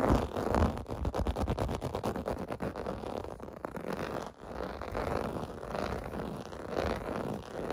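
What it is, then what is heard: Plastic bubble bath mat. Fingers and nails scratch the domes of a clear blue plastic bubble bath mat lying on carpet. A close, continuous rough scratching and scraping plays out in rapid, uneven strokes, heavy in the low end with little brightness. It dips briefly midway, then resumes.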